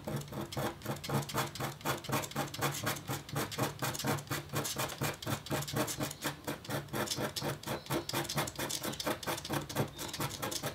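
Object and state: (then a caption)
Copper scratch art board. A metal-tipped stylus scratches a thin, solid, flat black-coated copper foil scratch board while etching a hummingbird design. Quick, uneven scratching strokes repeat about twice a second with a bright, rasping texture over a steady low hum, and each stroke stops abruptly with no ring.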